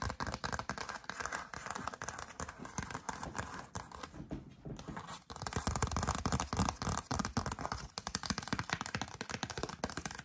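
Long dark acrylic nails tap and scratch the front of a thin, glossy yellow cardstock greeting card printed with "Going Home," held up in both hands. The result is a dense, rapid stream of dry, crackly taps and scratchy scrapes that briefly quiets around the middle, then returns louder and fuller.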